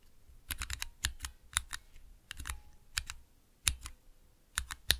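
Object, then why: Plastic mechanical keyboard switch tester. Fingertips press and tap the keys of a small 3x3 switch tester, with clear plastic keycaps on Cherry MX switches in a clear plastic base, resting on dark velvet. Sharp, bright plastic clicks and clacks come in irregular, typing-like bursts, each dying away almost instantly with a dull low thump beneath.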